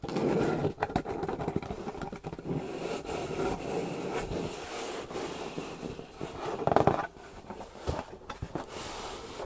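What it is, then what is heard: Corrugated cardboard box. Long painted nails tap and scratch the top and sides of a large, hollow, closed corrugated cardboard shipping box. The result is a continuous stream of quick, dry, hollow taps and rough scraping with a papery texture centred in the low mids. A louder flurry comes near the end before it settles back into softer scratching.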